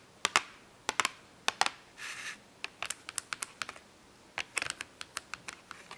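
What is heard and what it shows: A small cardboard box full of washable markers is held up and tapped with long acrylic nails, giving about two dozen sharp, bright clicks with almost no low end and very short ring. Around the two-second mark a brief nail scratch across the cardboard adds a soft, hissy rasp before the tapping resumes in quick clusters.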